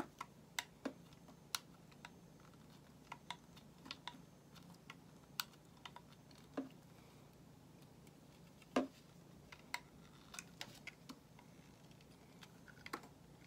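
A solid white bar of soap held in the hand is shaved with a metal utility knife blade, producing around two dozen short, crisp scraping clicks at irregular intervals. Each cut is a quick, bright tick with a faint low thud under some, fading almost instantly into a quiet, steady background hiss.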